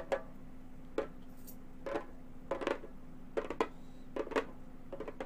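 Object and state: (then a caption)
Synthetic-head frame drum. A round, hollow Remo frame drum with a synthetic head is tapped with long gold metal finger claws, giving short, dry, clicky taps at an uneven pace, some single and some in quick pairs or clusters. Each tap dies away almost at once, over a steady low hum.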